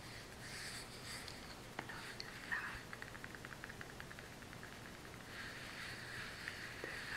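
A small brown kraft cardboard box is turned in the hand while long nails tap and scratch across its faces. Soft, dry scratching gives way to a run of quick, light taps in the middle, then settles back into a bright, papery scratching hiss at a low overall level.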